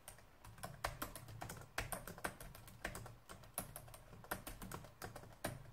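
Fingertips type fast and densely on a black plastic laptop keyboard. Quick, irregular clicks and clacks carry bright tops over a soft low thump, with a few louder key strikes standing out from the steady patter. Each click dies away almost at once.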